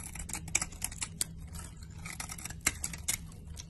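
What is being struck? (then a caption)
Bar of soap cut with a knife blade. A solid teal and white bar of soap, held in a hand with long painted nails, is shaved into crumbly flakes with a utility knife blade. Crisp, bright scraping and cutting strokes come with short, sharp clicks that die away instantly, over a faint low hum.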